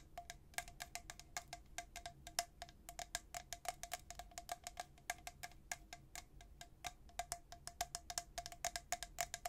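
A tall, hollow, white-coated stainless steel travel tumbler with a black plastic lid is held in one hand and tapped quickly by the fingernails of the other. Dozens of rapid, bright nail clicks each carry a short chime-like ring near 695 Hz over a faint low background.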